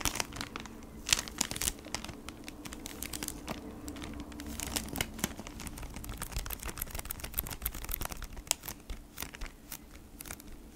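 A flat beeswax wrap pack in a crinkly plastic sleeve over cardboard is held in both hands while long nails tap and scratch across it. Dense, bright crinkles and quick dry clicks keep up without pause, over a low steady hum.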